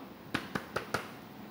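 Four evenly spaced, dull knocks with a low-mid thud and no lasting tone; each dies within a fraction of a second. It is a paper book, a solid thing: the packed pages soak up the blow instead of ringing. A small room adds faint echo.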